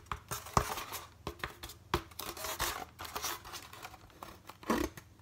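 A white polystyrene foam packaging block is held in the hand while fingers rub and scratch along its flat face. The result is a run of dry, squeaky scrapes and sharp clicks with bright, airy hiss and short bursts of friction. It sounds unsteady, with louder spikes near the start and a strong scrape near the end.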